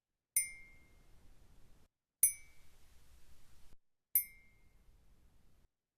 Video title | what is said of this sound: [MERL Seminar Series Fall 2024] Audio for Object and Spatial Awareness | different samples of the sound field of striking this mug on the handle here